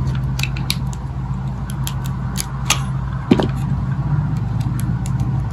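A thin metal blade cuts and scrapes thin crunchy slices from the faceted surface of a hand-sized solid green bar of dry soap held in the palm, with soap chips falling. Short, dry scraping crunches repeat irregularly over a steady low hum, with bright clicks and a louder snap near the middle.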